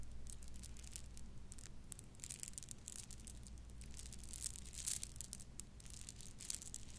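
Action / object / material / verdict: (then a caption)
shake / plastic bead necklaces / plastic / none. A bundle of purple plastic bead necklace strands is dangled, shaken and rolled between the fingers, giving a quiet, continuous patter of soft, bright clicks and rattles. The rattling swells in a few louder bursts over a steady low hum.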